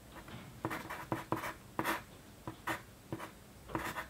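A wooden pencil held at the fingertips writes on a flat sheet of white paper lying on a desk, its graphite tip scratching the surface. Nine short, bright scratchy strokes stand out over a faint steady hiss, each fading quickly before the next.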